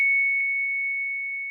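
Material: Nothing is struck.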